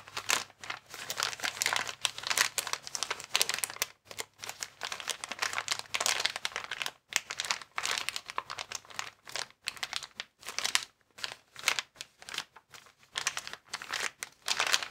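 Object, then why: Plastic air column cushion bag. A hand-sized, transparent plastic air column cushion bag, inflated with vertical air-filled columns, is squeezed and rubbed with the fingertips. It makes dense, bright crinkling in rapid bursts with almost no low end. Brief pauses break the crinkling, notably around 4 and 7 seconds.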